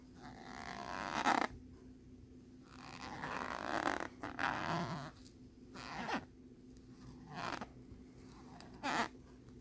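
Fingertips rub and scratch across the ridged surface of a thin plastic lenticular nebula card. The result is bursts of dry, rasping scraping that swell and fade, with a few sharper, brighter scratches standing out. Quiet gaps between strokes carry a faint steady low hum.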